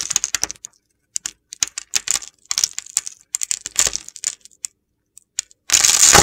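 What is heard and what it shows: A utility knife blade slices many small crumbly cubes off a dry, palm-sized bar of soap held in the hand, pre-scored in a grid, with a pink rim and white-blue core. Bursts of crisp, gritty crackling come in irregular clusters, ending in a dense, continuous crunch.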